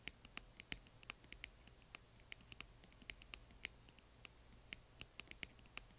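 Long nails and fingertips tap and scratch the sides of a small, hollow, yellow, glittery, translucent plastic box partly filled with plastic bingo chips, resting on black cloth. Quiet, sharp, bright clicks and ticks come in an irregular run over a soft scratchy hiss and a faint low hum. Each click stops at once with almost no ring.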